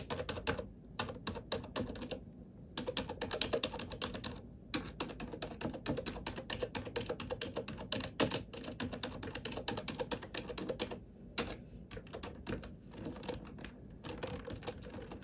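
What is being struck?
Plastic computer keyboard.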